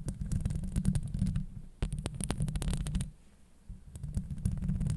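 Long acrylic nails scratch the hollow steel mesh grille of a Blue Yeti microphone, producing a dense, deep rumbling scrape with quick bright crackles over it. The scratching dips to near quiet for a moment in the middle, then starts up again at the same heavy, low level.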